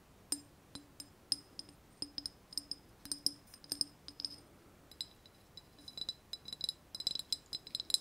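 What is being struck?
Small glazed ceramic vase.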